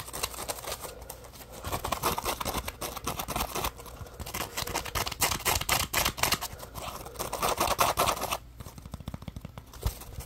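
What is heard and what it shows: A yellow textured polymer foam Scrub Daddy puppy scrub sponge with smiley cut-outs is held in one hand while fingertips scratch and tap its rough surface. The result is a dense, irregular run of dry, crackly scratches and quick taps with a bright, papery edge. The sound swells and fades in bursts.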